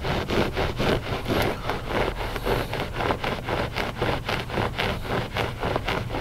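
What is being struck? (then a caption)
Loop-pile textile rug. Short fingernails scratch the pile of a flat gray loop-pile textile rug, solid and soft. The strokes come as a steady run of rough, papery rasps at a brisk, somewhat uneven rhythm, over a constant low rumble. Each stroke stops dry with no ring.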